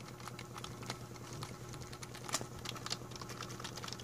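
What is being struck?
Plastic membrane computer keyboard.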